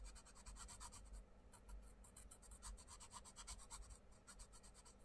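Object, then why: Wooden coloured pencil on a paper page. A wooden coloured pencil makes quick back-and-forth colouring strokes on a paper colouring book page lying flat, while the other hand holds the page down. Each stroke is a dry, bright scratch in a steady rhythmic run, with brief pauses, over a faint low hum.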